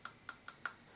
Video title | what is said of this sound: How to sharpen a wood chisel Part 1 | can hear that's really high pitched. That's a really good steel.